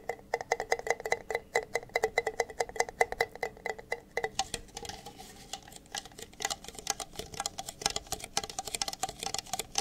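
Two identical empty, hollow red plastic party cups, held upside down close to the mic, are tapped rapidly with fingertips and nails on their bases and sides. The first four seconds give quick, hollow, resonant taps with a steady plastic ring. After that the tapping turns brighter and clickier, with sharper nail ticks and very short decays.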